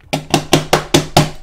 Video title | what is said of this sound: J'ai joué avec une FAUSSE souris Razer à 13 $ ... Je le fait RAGER ... | ça fait pas ce bruit là. C'est creux, c'est vide, y'a rien.